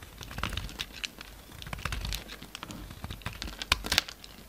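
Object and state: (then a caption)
Bar of soap being carved. A solid pink bar of soap held in the hand is carved and scraped with a utility-knife blade, sending pink chips falling. The clip is a quick, irregular run of crisp, crinkly scrapes and sharp little snaps, bright and centered around 3.5 kHz, with a few louder cuts near the end.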